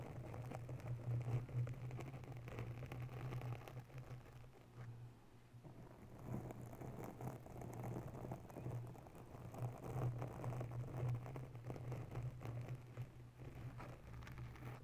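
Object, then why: Foam microphone windscreen. Both hands softly scratch a round grey foam cover on a white desktop microphone with long natural nails. The result is a continuous, muffled, rumbling scratch, heavy in the low end around 100–150 Hz with almost no brightness. Its level swells and eases slowly, dipping quieter briefly around the five-second mark.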